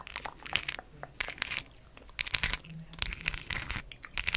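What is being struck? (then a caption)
Cork disc with glued-on plastic gems. A round, palm-size solid cork coaster with large, colorful faceted plastic rhinestone gems glued on is held in one hand and tapped and scratched with long acrylic nails. Quick, bright clicks and crisp, crunchy scratching come in irregular bursts with quiet gaps between, each sound stopping almost instantly.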